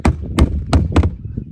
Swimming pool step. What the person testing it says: tap on it with a hammer this step sounds solid